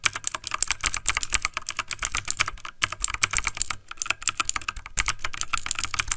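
Fingertips of both hands type fast on a backlit plastic mechanical computer keyboard, producing a rapid stream of bright, sharp key clicks with a light low thump under each tap. The clicks are dry and cut off instantly, with brief gaps near 2.8 and 5 seconds before the typing resumes.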